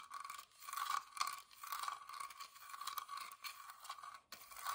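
Fingertips and nails scratch and tap the pierced floral carving on the lid of a small, hollow, whitewashed wooden box. Dry, continuous scraping and scratching comes in uneven bursts with light taps mixed in. It holds a thin, steady ring near 1.1 kHz with bright hiss above and no low end.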